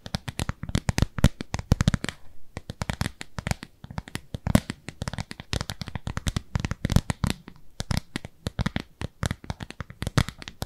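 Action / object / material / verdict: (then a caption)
scrape / silicone cleansing pad / silicone / none. A round, pale pink textured silicone pad, solid and palm-sized, is held upright and scratched with long nails. Rapid, dense bursts of short, dry, crackling scratches run throughout, each snapping off almost instantly, with most of the weight low and a brief lull just after two seconds.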